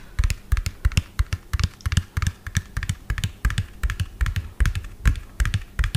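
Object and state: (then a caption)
Hollow plastic toy dump truck. Fingernails tap fast on the cab of a medium lime-green hollow plastic toy dump truck with an empty tipper bed. Rapid, irregular clicky taps each carry a hollow low thump and a bright tick, dying away almost at once. The result is a dense, uneven patter of light plastic knocks.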